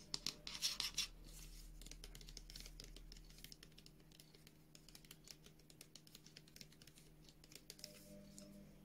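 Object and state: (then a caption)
Plastic squeeze tube of gel, tapped and scratched. Long nails tap and scratch a hand-sized white and blue plastic squeeze tube of moisture gel, which seems full, held in both hands. A quick, louder burst of crisp clicks opens the clip, then quieter, bright, dry taps and scratches continue unevenly over a faint low hum.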